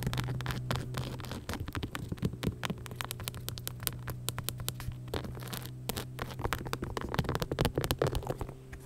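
Long nails scratch and tap across an empty beige, rhinestone-covered sneaker with a clear sole. The result is a dense stream of quick, crisp clicks and gritty scratches layered over a steady low hum.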